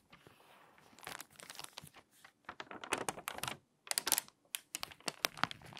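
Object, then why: Glossy paper magazine. A glossy paper magazine lies open at the puzzle pages while long nails and fingertips turn the pages and rub the paper flat along the spine. Bright, crisp crinkles and dry tapping clicks come in quick clusters with short silent gaps, with almost no low end and no ring after each contact.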